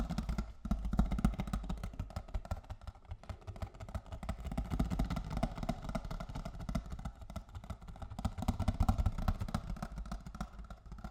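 A box of cocoa is tapped with fingers and nails in a quick, uneven stream of soft taps. The sound is dull and low-heavy with short, clicky attacks that die away almost at once. It swells and fades slightly over about eleven seconds.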